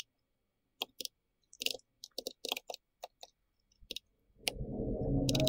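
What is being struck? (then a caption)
Plastic mechanical keyboard with round keycaps. Fingertips from both hands tap the round plastic keycaps of a pink-red compact plastic mechanical keyboard, giving short, bright clicks with a low thock in irregular bursts. After a last sharp click, a steady broadband noise swells up and continues to the end.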